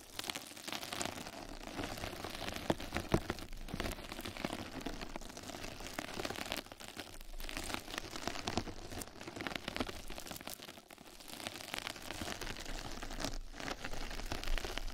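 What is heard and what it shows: Two mascara brushes scratch and brush across a flat yellow knitted-mesh scrub sponge pad resting over the microphone. The result is a dense, continuous crackling rustle, like rain on a surface, with a heavy low rumble and bright, fizzy scratches. It eases briefly around the 7- and 11-second marks before building again.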